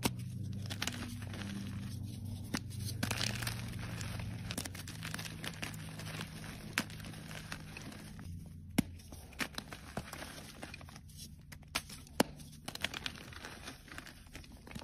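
A solid white gym chalk block is pressed and crumbled into powder with fingertips and fingernails, leaving the hands coated in chalk dust. Dry, gritty crumbling and crackling run throughout, punctuated by sharp, bright snaps as pieces break off, over a steady low hum.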